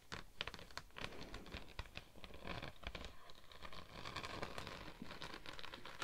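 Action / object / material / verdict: scrape / thin textured vinyl sheet / vinyl / none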